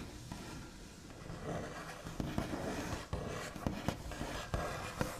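The backs of fingernails scratch and trace across a large, solid wooden tabletop with a smooth white finish, making a soft, steady rasping texture. About eight short, dull taps with a quick decay land over it in the second half.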